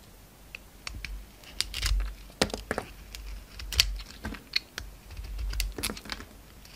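A utility knife blade slices and scrapes the pink face of a solid oval bar soap, pink inside with a gold glitter shell, held in the hand. The result is a string of short, crisp scraping and cutting ticks with bright crackle, scattered unevenly over a low, soft background.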